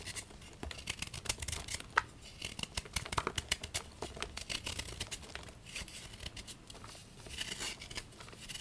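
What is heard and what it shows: A solid, palm-sized pink and white gym chalk block of magnesium carbonate is held in one hand over a bowl of chalk powder and scraped and carved with a small patterned knife, shaving off flakes. The result is a quick run of dry, bright scratching and crisp crumbling strokes with almost no ring, steady and fairly quiet throughout.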